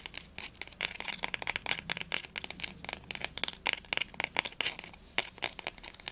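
Fingernails rapidly tap and scratch the textured linen spine of a small, solid, blue cloth-bound Heine poetry volume with gold embossing, first upright and then held sideways. About thirty dry, bright clicks and crinkly scratches come in quick, uneven bursts with almost no ring or low end.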